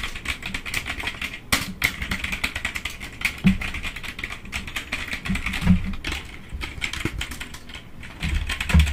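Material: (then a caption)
Plastic. Fingertips rapidly tap the keys of a black plastic computer keyboard, filling the clip with a dense, continuous stream of bright plastic clicks over soft low thuds. A few harder strikes stand out, and each click dies away almost instantly.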